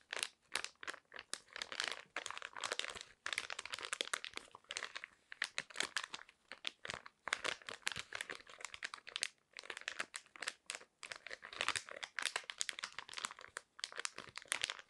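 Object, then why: Foil-plastic face mask sachet. Long nails scratch and squeeze a hand-sized, cream-colored printed foil-plastic sachet holding a thin sheet face mask. The result is a steady run of dense, bright crinkling and crackling bursts with almost no low end and no ring after each sound.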